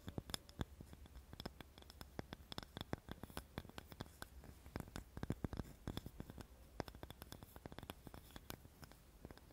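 A small, light, solid wooden cutting board is scratched with long nails close to the recorder. Rapid, uneven clicking scratches run continuously over a low, steady hum, with quick dry taps that die away almost instantly.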